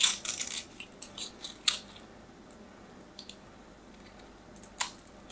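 A small knife blade scrapes and carves a solid, hand-sized white bar of soap held in the hand, sending flakes falling. Dry, bright scratching bursts come densely at first, then thin into sparser sharp scrapes with quiet gaps. One last crisp scrape stands out near the end.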